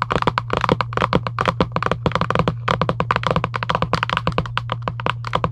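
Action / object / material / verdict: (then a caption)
tap / cardboard game box / cardboard / none. Long acrylic nails tap rapidly on the lid of a Giant UNO cardboard box lying flat, making about 31 short, dry, hollow clicks with a midrange knock and almost no ring. A steady low hum runs underneath throughout.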